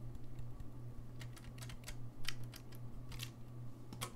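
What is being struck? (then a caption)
Brass saxophone keys. A gold-lacquered brass saxophone is held low while fingertips click its keys. The clicks are short and bright and sit over a steady low hum. They fall irregularly and sound like typing, with a few sharper taps standing out.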